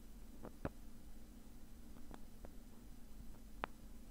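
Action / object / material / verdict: scrape / padded nylon mesh zip bag / nylon mesh / none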